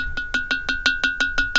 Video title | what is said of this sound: Making Sinagua Tuzigoot Style Pottery, Primitive Pottery Crafting | that jar has a nice ring to it